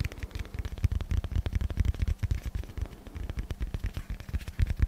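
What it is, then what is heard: Dense foam block. Fingertips tap and scratch across a hand-sized solid block of dense black foam held close to the mic. The result is a rapid, uneven stream of soft, muffled, low thuds that die away almost instantly, with only a faint scratchy rustle above them.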